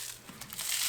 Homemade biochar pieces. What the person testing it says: you can hear that nice glassy sound that means that it's really well broken down